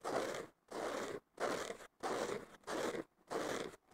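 Fingertips and nails scratch the surface of a thick, porous blue synthetic foam sponge block, possibly with a green scouring layer underneath, lying on a wooden table. Six dry, rasping scratch strokes are heard, each about half a second long with short silences between, and a seventh begins at the end. The strokes have a strong midrange body around 550 Hz with a bright, airy hiss above.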